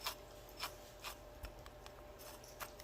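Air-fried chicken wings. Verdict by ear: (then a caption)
Crispy. Air-fried chicken wings from the bottom oven of a double countertop oven are rubbed and tapped, giving a series of short, dry, crisp scratching clicks over a faint steady hum. The wings sound crispy.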